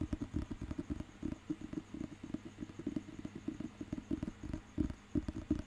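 Fingertips and nails tap and scratch the glossy cover of a thick, solid dictionary book held in the hand. About twenty quick, dull taps in an uneven rhythm carry a low, woody thump with almost no brightness. Each tap dies away almost at once.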